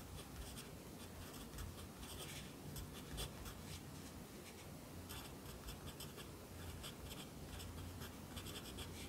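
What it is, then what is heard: Pencil writing on paper. A yellow wooden pencil held in the fingers writes across the page of an open lined paper notebook lying flat on a desk. Quiet, continuous graphite scratching on paper is heard, with bright, breathy strokes over a steady low hum.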